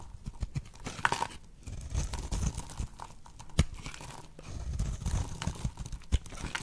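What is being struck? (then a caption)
Bar of soap. A blade cuts into a solid, oval, dry pink bar of soap held in the hand, shaving it into fine crumbly curls that crackle off. Soft, dull scraping and crunching runs throughout, broken by sharper crackles and low thumps at irregular intervals.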